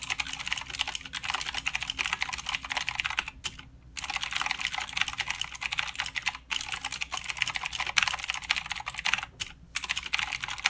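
Fingertips of both hands type continuously on a full-size mechanical keyboard with plastic keycaps and blue clicky switches. The rapid, bright, crisp clicks run in dense bursts with a few brief pauses between runs.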